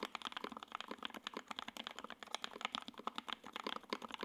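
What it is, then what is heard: Mechanical keyboard typing. A J-02 WKL 60% mechanical keyboard with Tangerine switches, ABS keycaps, a gray aluminum case and a carbon fiber plate is typed on continuously with the fingertips of both hands. It produces a rapid, steady stream of short, crisp clacks with a bright top and almost no low end. Each keystroke dies away almost instantly.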